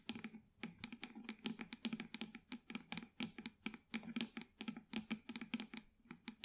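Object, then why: Small plastic plant pot with artificial plant. Long white acrylic nails rapidly tap and scratch the sides of a small black plastic plant pot holding an artificial plant, held in both hands. The clicks are sharp and dry, coming in quick irregular bursts, with a faint hollow tone from the pot around 230 Hz.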